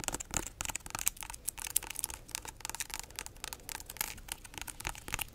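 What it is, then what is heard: Whole pineapple rind. Long nails scratch and tap the spiky rind of a large, solid whole pineapple. The sound is a quick string of dry, bright ticks and crackly scrapes, each dying out almost instantly, with little low end.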